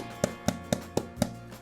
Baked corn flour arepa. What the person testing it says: If you tap it gently it sounds hollow in the middle